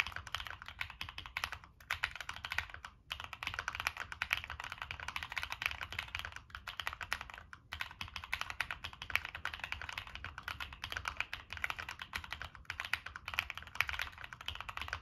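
Fingertips type steadily on a Monsgeek M1 mechanical keyboard with a dark metal case and purple and black plastic keycaps. A fast, continuous stream of short, bright plastic clacks runs throughout, pausing briefly only a few times over about 15 seconds, over a faint low hum.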